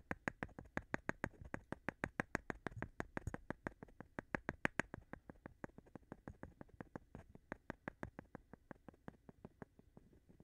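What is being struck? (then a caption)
Light wooden board and thin flat stone. A thin flat stone is tapped, rubbed and scratched by fingers against the surface of a light wooden board held upright. A fast, slightly uneven run of dozens of short, dry clicks with bright edges dies away almost instantly after each hit, with faint scratchy rubbing between them.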